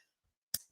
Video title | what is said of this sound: 🍒 Jess Machado Show Sz 2 Ep 1 | it should sound hollow. You should hear it. It sounds good. If it's too dense and it's not enough noise, it's still kind of not done inside.